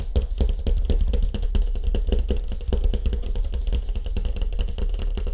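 Fingertips tap quickly over a surfboard with a wood grain finish, for ASMR. The taps run together in a steady, rapid patter of deep, hollow thumps around 74 Hz, each ringing only briefly, with faint bright clicks on top.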